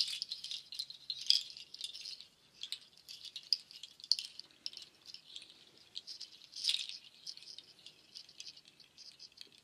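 A hanging nut shell waterfall shaker, with dark hollow shells strung on white cord, is shaken and its strands are stroked with fingertips and nails. Dense, bright clattering rattles rise and fall in quick bursts, with a few sharper clusters of clicks standing out. The sound is entirely high and dry, with almost no low end and very short decays.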